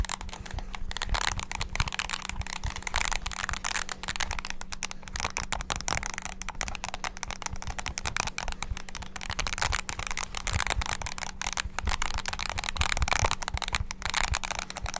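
Fingertips rapidly bash the keys of a small black handheld plastic mini wireless keyboard. The result is a dense, continuous stream of bright plastic clicks and clacks, with a faint steady low hum underneath.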